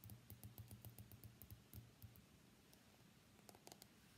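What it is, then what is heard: Smartphone glass back and metal frame. A white iPhone X is held upright on its edge while fingernails tap and scratch its glass back and steel frame. Quiet, quick clicking taps with bright ticks come in a rapid run over the first two seconds, then ease into softer scratching before a short final burst of taps.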